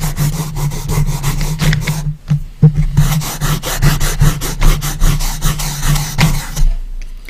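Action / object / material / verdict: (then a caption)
scrape / light wooden box lid / wood / none. Fingertips slide back and forth across the bare, light wooden lid of an empty coffin-shaped box, making a rhythmic dry rubbing and rasping with bright, grainy strokes over a low steady hum. The strokes come in quick, uneven passes, with a brief quieter pause around two seconds in before the rubbing resumes and fades near the end.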